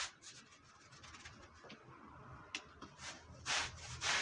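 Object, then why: Wool Persian rug. A long-handled stiff brush scrubs a damp, dirty, red patterned woven wool Persian rug, making bright, bristly rubbing strokes with a hissy, scratchy texture. The strokes start soft and uneven, then grow louder and broader toward the end, with a couple of strong swipes.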